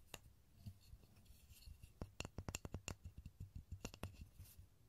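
A small solid light pine block with visible grain, held in both hands in front of a stereo microphone, is rubbed and scratched with fingertips and short nails. Soft rubbing gives way to a quick run of short, dry scratches and taps, each with a low, dull body and a bright, crisp edge that dies away almost instantly.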